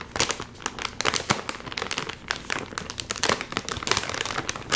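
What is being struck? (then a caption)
Metallized plastic film chip bag. Both hands pull hard at the top seam of a full Doritos chip bag made of metallized plastic film, crinkling it. Dense, rapid bright crackles and crinkles come in uneven bursts throughout, with very little low end.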